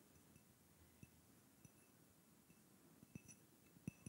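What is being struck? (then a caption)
Small clear glass cup. Fingertips and nails tap a small, hollow, clear glass cup or votive holder, with a little pink content at the bottom, held close to the microphone. Six soft, irregular clinks rise out of a quiet background; each is a short low thump with faint bright ringing overtones that die away almost at once. The taps are sparse at first and bunch together toward the end.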